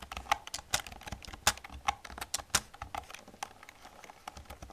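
Fingertips and long nails type rapidly on an old black plastic computer keyboard. The result is a quick, uneven run of sharp, bright clicks and taps with very short decay, some strokes landing harder than others, over a quiet background.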